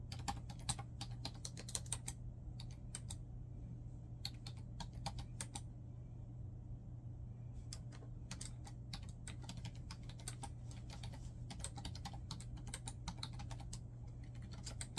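Fingertips type continuously on a black plastic laptop keyboard, and only the keys are struck. Quick, bright, dry clicks come in dense bursts with a couple of short pauses. A steady low hum runs underneath throughout.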